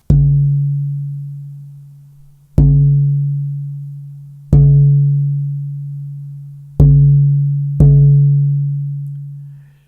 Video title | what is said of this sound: ERVIN SOMOGYI 01 - GUITAR MAKER - The Air Pump - Bracing - Tap Tone | this wood has vitreous nough sand liveness to a degree that puts most others to shame